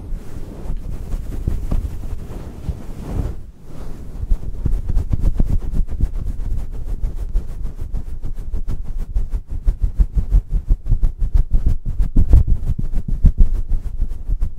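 A fist-sized, fluffy grey synthetic fur windscreen (deadcat) over a microphone is rubbed and squeezed with the fingertips and palms of both hands. The result is a dense, continuous, low rumbling with fast, irregular muffled thumps and scrapes, almost entirely deep in tone, with a brief lull a few seconds in.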